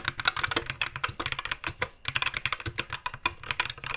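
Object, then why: Mechanical keyboard with plastic keycaps. Fingertips of both hands type steadily on a compact white mechanical keyboard with plastic keycaps and a green backlight, resting on a wooden desk. About two dozen crisp, bright plastic key-press taps sound in a quick, even rhythm, each clicking off almost instantly with little low end.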